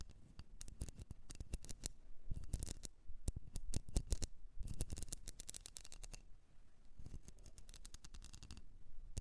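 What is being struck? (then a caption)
Candle. A blue candle, possibly in a container, is tapped and scratched with quick, dry clicks and rasping scrapes that come in dense bursts with short pauses between them. The sound is quiet and close, with soft low thumps under the sharp ticks and almost no ring after each touch.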